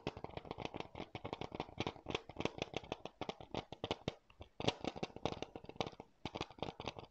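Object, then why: Hard plastic game case. Fingertips and nails tap and scratch a hollow, hard blue plastic NBA 2K PS4 keep case held in both hands near the mic. Dense, rapid clicky taps with brief scratchy rustles in between, each short and dry, with a bright edge.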